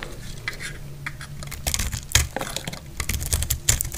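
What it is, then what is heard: Dry soap bar being cut. A metal blade cuts into the edge of a solid, dry red soap bar held in the hand. It makes a run of irregular, crisp, bright scraping and crackling cuts over a steady low hum. Several sharper snaps stand out along the way.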